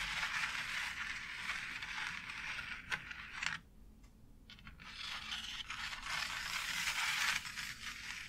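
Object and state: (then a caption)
Plastic faux brick wall panel. Long nails scratch and tap across the textured bricks of a thin, light, white embossed plastic faux brick wall panel. The result is a bright, dry, rasping scrape with quick clicky taps that briefly drops to near silence midway before the scratching resumes.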